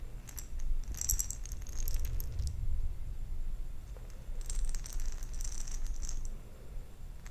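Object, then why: Glass jar of small plastic beads. A round glass jar with a metal lid, partly filled with plastic perler fuse beads, is held in one hand and shaken and tilted. The beads rattle in two bright, crisp bursts of clicking against the glass, over a steady low rumble.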